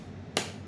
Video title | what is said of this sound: Class 8th Science Metals and Non-metals | वो ton ton की आवाज आ रही नहीं, क्या आ रहा है, यही आ रहा है बस